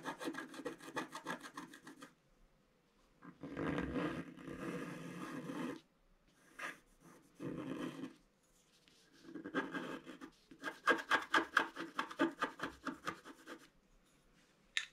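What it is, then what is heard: Scratch art paper being scratched. A thin wooden stylus scratches fine lines into a flat black sheet of wax-coated scratch art paper in a book. Quick bursts of short, dry rasping strokes alternate with longer continuous scrapes, separated by brief pauses. The scratching has a soft, papery texture with a bright edge.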